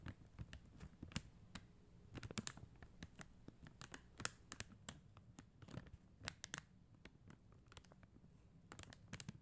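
Long acrylic nails tap quickly across a flat sheet of acrylic rhinestone stickers on a white backing. The result is a quiet run of short, dry, bright plastic clicks with no ring, some landing in quick clusters over a faint low background hum.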